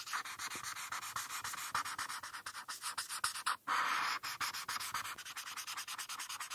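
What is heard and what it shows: A felt-tip marker is rubbed back and forth on a flat paper coloring page, filling in the yellow rainbow band. Quick, dry, scratchy strokes repeat in a steady rhythm, with a bright papery hiss centered in the upper mids and no low end. After a brief pause near the middle, one longer continuous stroke sounds before the rapid back-and-forth resumes.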